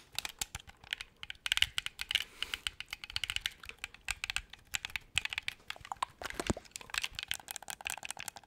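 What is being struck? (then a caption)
Hollow clear plastic game controller. A hand-sized, hollow, clear-shell transparent plastic Xbox-style game controller is held in both hands while fingertips and thumbs rapidly press and tap its buttons and shell. The result is a dense, fast stream of dry, bright, clicky taps that sound like typing, centered around 3 kHz with little low end and no ring after each tap.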